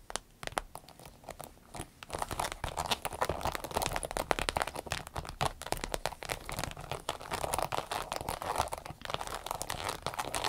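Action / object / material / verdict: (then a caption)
tap / small vinyl zippered pouch / vinyl / none. Long nails tap and scratch the glossy vinyl front of a small striped vinyl zippered pouch. A dense stream of quick, crisp clicks and crinkly scratching starts softly, then grows busier and louder after about two seconds, with each tap dying away instantly.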